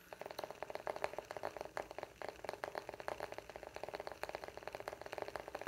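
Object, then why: Small flat wooden coaster. Fingernails scratch and tap the face of a round, flat, palm-sized coaster of solid light wood with engraved text. A quiet, rapid run of many short, dry clicks and scrapes with no ring, mostly in the midrange with a hollow tone near 600 Hz and little bass or high end.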